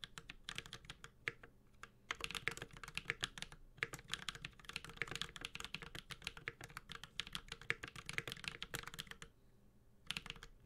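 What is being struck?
Mechanical keyboard with aluminum case and plastic keycaps.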